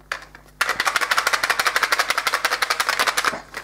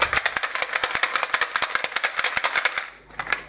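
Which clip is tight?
The first.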